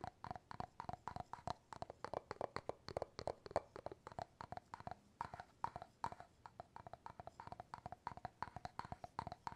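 Fingernails and fingertips tap the top of the wooden bamboo lid on an empty clear glass jar. Dozens of quick, dry, hollow knocks sit around a mid-range tone, each dying away almost at once. The quiet tapping runs steadily, with small shifts in pitch and force.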